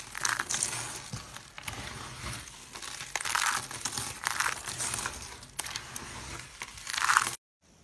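Dry pink soap shavings, brittle solid flakes, are scooped, crushed in the palms and raked with fingers and purple nails. The result is a dense, bright, dry crunching and crinkling that swells in several louder bursts over about seven seconds, then cuts off abruptly into near silence.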